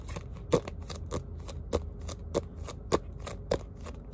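A small spiral notebook with a printed cardboard cover and metal spiral binding is held up and its cover tapped and scratched with fingertips and short nails, possibly with pages flicked. Short, dry taps recur at an uneven pace, each with a hollow midrange knock around 465 Hz and a brief bright click that dies away almost instantly. Soft, steady scratching and a low background rumble fill the gaps between taps.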